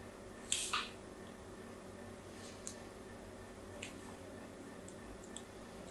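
A solid pink soap bar held in the hand is scored in a grid pattern with a thin blade. A sharp, bright scraping crackle opens the clip, followed by several quieter, crisp ticks of the blade over a steady low background hiss.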